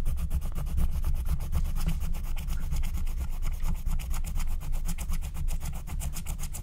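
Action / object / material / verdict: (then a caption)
scrape / wax-coated scratch-art card scraped with a wooden stylus / wax-coated paper / none. A wooden stylus rubs and scratches the coating of a flat, thin, black-coated scratch-art card made of wax-coated paper, in short strokes. It produces a steady, rapid run of dry scratching strokes with bright, crisp edges over a heavy low rumble, holding at an even level throughout.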